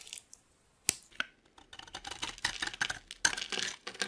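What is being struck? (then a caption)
Bar of soap scraped with a metal blade. A solid cream-colored rectangular bar of dry soap, held in the hand, is scraped and shaved with a metal utility blade, and curls of soap fall off. A few sharp, bright clicks come first, then a dense run of crisp, high scratching and shaving strokes with almost no low end.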